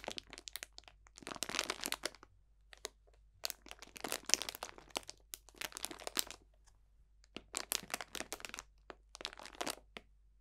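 A clear cellophane bag full of dried botanical potpourri is pressed, squeezed and crunched with the fingertips. The result is bright, dry crackling and crinkling in short bursts, separated by brief quiet pauses.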